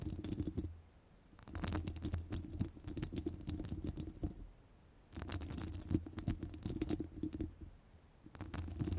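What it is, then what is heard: Metal mesh microphone grille scratched with nails. Long nails rapidly scratch the sides of a hollow metal wire-mesh microphone grille in three bursts separated by short quiet pauses. The sound is a dense, fast patter of tiny scratchy clicks over a heavy low rumble, with only faint high detail.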